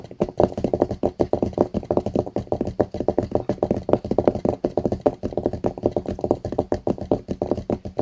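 Fingertips and short nails tap rapidly on the blue hard cover of a small closed notebook lying flat on a mouse pad. A quick, steady stream of dry, muffled taps is heard, each one dying out almost at once, with most of the sound in the low-mid range.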